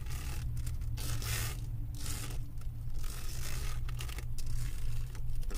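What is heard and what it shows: Long acrylic nails scratch across the resin drill surface of a flat diamond painting on a canvas board. The result is a steady, gritty scraping with bright rasping bursts over a constant low hum.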